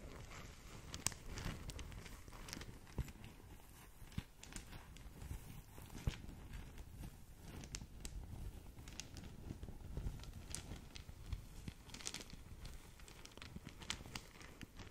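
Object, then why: Satin fabric drawstring bag. A small green satin drawstring gift bag is held in both hands while long nails scratch and squeeze the fabric. It makes a quiet, continuous rustling and scratching with a soft low rumble underneath. Brief bright crinkles and sharper scrapes stand out now and then.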